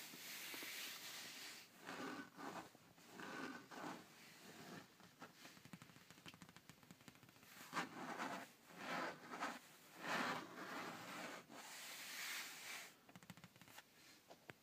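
Fingertips and nails of an open hand rub and scratch the padded, soft, cushioned dark grey leather seat of a Mini Cooper. The result is a series of quiet, breathy scraping and rubbing strokes with a bright, hissy texture. Each stroke rises and fades in uneven bursts.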